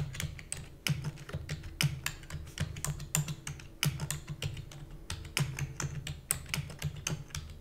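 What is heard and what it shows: Long nails and fingertips type rapidly on the plastic keys of a black plastic computer keyboard. It produces a fast stream of short, sharp clicks with bright edges that die away almost instantly, over a steady low hum.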